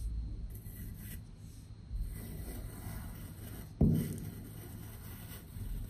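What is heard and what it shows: A patterned metal knife cuts through solid slabs of pink kinetic sand, making a soft, low rasping and sandy slicing sound. Two firmer cuts stand out, a muffled one near two seconds and a sharper dull thud near four seconds. Between them a quiet, grainy scraping continues.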